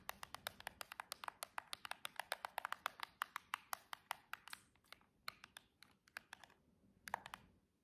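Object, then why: Cardboard nail box. Long jeweled fingernails tap and scratch the edge and end of a silver cardboard nail box in fast, typing-like bursts of about 43 short, dry, bright clicks. The taps slow and thin out near the end, then stop briefly before a final quick flurry.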